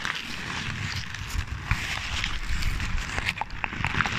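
A sheet of crumpled paper is held in one hand beside a microphone and crinkled with the fingertips. A steady, close crackling rustle runs throughout, with brief bright snaps and a low, muffled rumble underneath.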